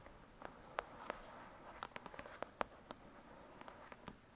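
Long, pointed dark red nails tap and scratch the glossy card cover of a thick paperback novel, a solid paper block resting on a fluffy surface. About fourteen quiet, sharp clicks land at an irregular pace, each dying away almost instantly, with a soft, faint scratching hiss between them.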